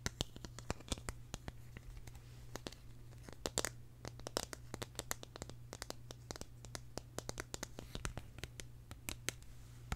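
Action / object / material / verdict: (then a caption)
tap / small hard-plastic flower-shaped case / hard plastic / none. Long nails tap and scratch a small, hollow, purple hard-plastic case shaped like a tulip, held close to the microphone. Rapid, dry clicks and brief scratchy scrapes sound over a steady low hum, each tap sharp and gone almost at once.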